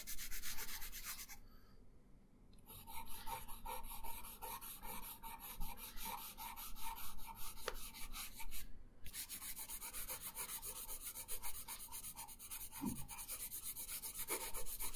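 A colored pencil tip is rubbed across a thin paper coloring page lying on a wooden table in quick shading strokes. The result is a steady, dry scratching hiss with a bright edge, broken by a short quiet pause near the start and a brief gap around the middle before the strokes resume.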